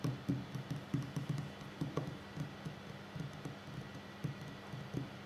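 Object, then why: Wooden tabletop. Fingertips and short nails of both hands tap quickly across a solid wooden tabletop, producing a rapid, uneven patter of soft, dull, low-pitched knocks that die away almost at once. A faint steady hum sits beneath the quiet tapping throughout.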